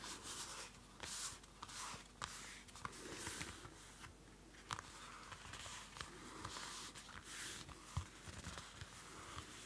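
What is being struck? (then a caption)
Paper notebook with card cover. Fingernails scratch and tap the dark card cover of a small Field Notes pocket notebook, a cardboard-covered paper notebook, held close to the mic. A quiet, continuous bright scratching rustle runs throughout, broken by sharp, short taps that stand out above it.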